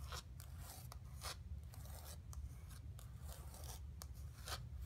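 Long nails scratch the surface of a flat painted canvas board resting on carpet. Short, bright, raspy scrapes come in quick bursts over a steady low rumble, with the whole clip staying quiet.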